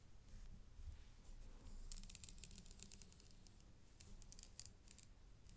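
A dark stick taps quickly on the set rhinestones of a silver-tone metal chain necklace with three flower clusters, held in gloved hands on black cloth. The taps make many light, bright, irregular ticks and clicks that die away almost instantly, over a soft low hum.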